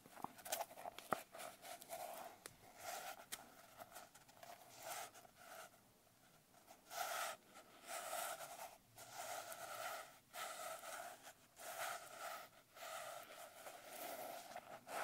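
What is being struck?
Glitter-covered paper notebook cover.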